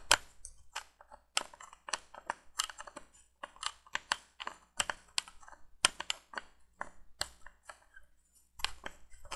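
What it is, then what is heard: Small glass light bulb in a plastic holder. Long painted nails tap and scratch a small, hollow orange glass C7 bulb screwed into the plastic candle of a 1980s window light, held in the fingers. The result is a quick, irregular run of about twenty bright, dry clicks with light scratchy scrapes between them. Each click is crisp and cuts off at once, with no ring.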